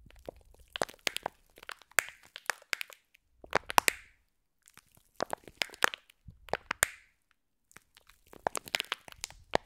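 Long nails squeeze and crush a clear plastic pack of green foam bead slime. Bursts of dense, bright crackling and crunching come in clusters separated by short pauses, with sharp clicks standing out.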